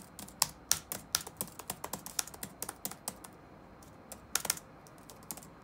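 Fingertips type rapid key taps on the black plastic keys of an open laptop resting on a wooden desk. About 21 sharp, bright clicks decay almost instantly, with a short pause midway before the typing resumes.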